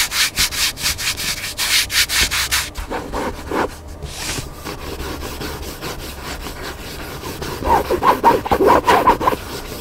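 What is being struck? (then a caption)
Hardcover book with paper cover. Fingertips and short nails scratch and rub across the paper cover of a large black hardcover cookbook lying flat on a table, its pages a solid block of paper. Quick, bright, rhythmic scratching strokes open the clip, then ease into a softer, steadier rubbing. Louder scratches return near the end.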